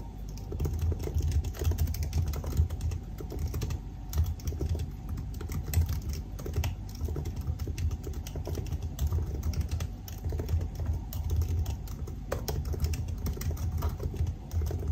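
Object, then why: Aluminium laptop keyboard with plastic keys. Fingertips type steadily on the black plastic keys of a silver aluminium laptop, producing a rapid, continuous stream of short key taps for about 15 seconds. The taps are soft and muffled, with a deep thudding body and very little brightness, and each one dies away almost instantly.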